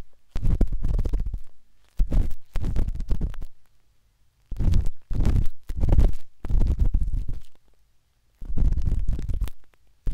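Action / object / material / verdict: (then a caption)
scrape / silicone ear of a binaural microphone scraped with a metal-tipped dot stick / silicone / none. A metal-tipped dot stick with a wooden handle scratches inside the soft, hollow canal of a pinkish-white silicone binaural microphone ear. Heard are deep, muffled rubbing and scratching bursts, almost entirely low rumble, coming in repeated stretches separated by short silent pauses.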